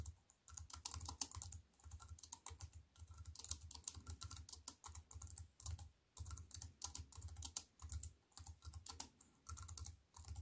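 Fast typing with fingertips and long white nails on a compact wireless keyboard with black plastic keys in a thin silver aluminium frame, resting on a wooden table. Rapid bursts of crisp, bright key clicks sit over soft low thuds from the keys bottoming out, with brief pauses between bursts. Each tap dies away almost instantly.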